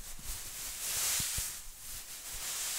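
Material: Nothing is struck.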